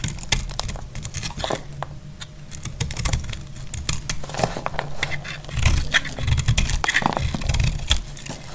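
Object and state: Dry soap bar.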